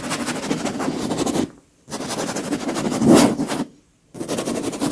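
Very long pink acrylic nails on lace-gloved fingers scratch and rub the surface of a large, soft, white leather pillow that is filled and cushioned. Three stretches of dense, papery scratching, separated by two brief silences, carry a mid-range body with a bright, airy hiss. The middle stretch swells briefly louder before fading out.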